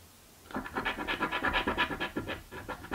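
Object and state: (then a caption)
Scratch-off lottery ticket being scratched. A coin held in the fingers scrapes the scratch-off coating of a purple paper scratch lottery ticket lying flat on a table. After half a second of quiet, about a dozen quick, rhythmic rasping strokes follow one another, gritty and mid-to-bright in tone with little low end.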